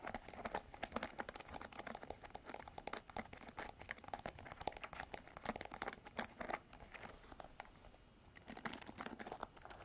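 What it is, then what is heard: Plastic paddle hairbrush. Nails scratch and flick the pin bristles of a plastic paddle hairbrush with a silver handle, producing a dense run of quiet, crisp clicks and crinkly scratches. The sound is bright and dry with very short decays, and it eases briefly just after the eight-second mark before the flicking picks up again.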